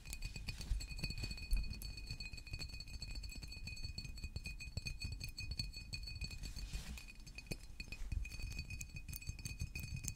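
A green San Pellegrino glass water bottle with a paper label stands upright on a table and is tapped with fingertips and nails. Rapid, continuous light clinks and ticks sit over a low rumble, with a steady glassy ringing tone near 2.6 kHz and a higher bright tone held throughout. Each tap dies away almost instantly.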